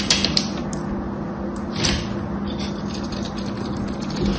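A small knife blade carves a whole gold-coated, embossed solid bar of soap into dry, crumbly shavings. Sharp, bright scraping clicks and crackles sound over a steady low hum.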